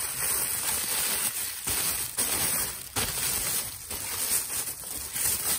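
A brown, thin plastic carrier bag with red print is held and crumpled between both hands with the fingertips. It makes a soft, steady, bright crinkling with a hiss as air leaves the bag. The level dips briefly now and then.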